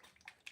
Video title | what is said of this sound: Clean Up and Questions | it still sounds good. If you shake up your paint pretty good, you're gonna notice if it's separating.